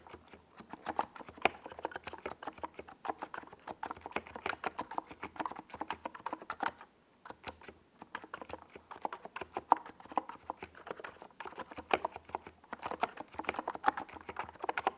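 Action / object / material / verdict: tap / plastic mechanical keyboard / plastic / none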